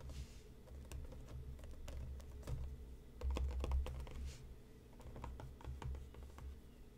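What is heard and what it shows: Fingertips and nails tap the front and top of a hollow printed cardboard tea box resting on a cutting mat, producing quick, irregular, dull clicks and taps over a steady low rumble. The taps cluster more densely around the middle, and faint background music may be present.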